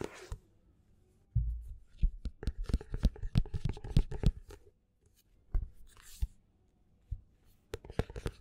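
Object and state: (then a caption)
Paperback book spine tapped and scratched. A paperback book is held upright while fingertips and nails scratch and tap its card spine and cover edges. A dense run of quick, dry scratches and clicks gives way to a pause and then a few scattered, sharper taps, with mostly low, muffled body and brief bright ticks.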